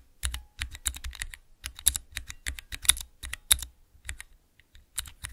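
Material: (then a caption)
Plastic. Fingertips rapidly press the keys of a small clear plastic 3x3 Cherry MX mechanical key switch tester, making an uneven run of crisp, bright clacks. Each press has a soft low thump underneath and dies away almost instantly, with short pauses between bursts.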